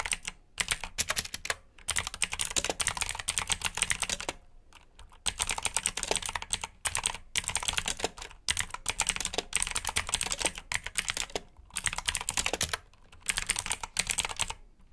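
Both hands type with their fingertips on a black, backlit plastic mechanical keyboard with blue switches. The keystrokes come as a rapid run of bright, sharp clicks with almost no ring. Short pauses split the typing into bursts.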